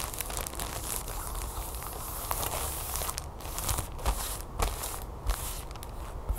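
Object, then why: Sealed plastic package. Long fingernails tap quickly and scratch lightly on a flat, sealed plastic package holding a folded yellow plastic tablecover resting on a table. The result is a steady, dense crinkling patter with bright clicks and a low rumble underneath. A few sharper taps stand out toward the end.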